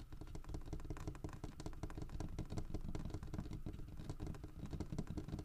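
Fingertips and nails tap and scratch the grooved carved back of a large, solid carved wooden bear figurine lying on its side on a wooden table. The result is a steady stream of quick, dull, low-heavy knocks, with short scratchy textures in between.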